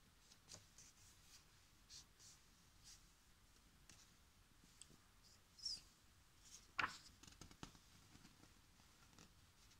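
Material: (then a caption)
Paper. Fingertips rub and smooth the thin printed paper pages of a large paperback coloring book lying open on a table, then lift and turn them. Soft, bright rustles and brushing swishes run through the quiet clip, with a louder crisp page flip standing out about two-thirds of the way in.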